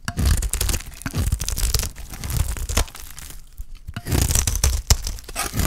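A utility knife blade shaves the surface off a solid, stamped, dry green olive soap bar held in the hand, peeling away flakes. It makes dense, dry scraping and crunching with a tearing, crinkly texture and a heavy low-end thump, loud at the start, easing off around the middle, then returning in strong bursts.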